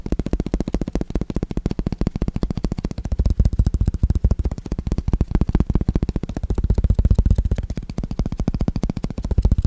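Fingertips and nails tap rapidly on the red rubber face of a solid, flat wooden ping pong paddle with blue edge tape, held close to the microphone. The result is a fast, steady stream of short, dull, low thuds with almost no ring, rising and falling slightly in loudness throughout.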